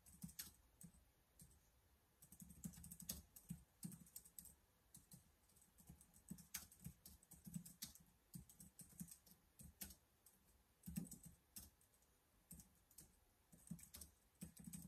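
Fingertips type on the keys of a black plastic laptop keyboard in irregular bursts. Soft, dull key thumps carry most of the weight, topped by bright, sharp clicks that die away almost instantly. The level stays quiet, with brief pauses between flurries of typing.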